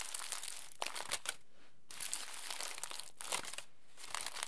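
Crumpled aluminium foil is pressed into a ball between both palms, then pulled open again with fingers. Bursts of bright, crisp crinkling and crackling come in waves, separated by brief quiet pauses.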